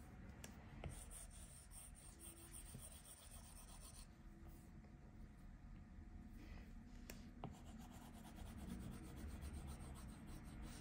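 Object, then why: Plastic stylus tip on a glass tablet touchscreen. A plastic stylus tip rubs in fast scribbling strokes across the flat glass touchscreen of an iPad Pro tablet. The result is a quiet, steady, rapid scratchy rubbing, mostly low and dull with little brightness, and no clear separate taps.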